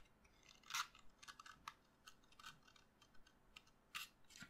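A solid white chalk stick lies on a table, held by the fingers, as a utility knife blade cuts and scrapes it. The result is quiet, bright, crackly scraping in short irregular bursts, with a few sharper, louder scrapes standing out.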